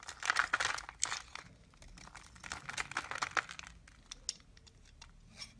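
A solid purple bar of soap held in the hand is shaved and carved with a green-handled blade, and flakes break off. Dry, crisp scraping and crinkly crunching come in a quick, uneven run of short bursts. It is brightest in the first second and then trails off into quieter, scattered scrapes.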